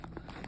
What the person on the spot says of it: It's not like solid. Like when you knock on it, you're not gonna hear that really like hard shell.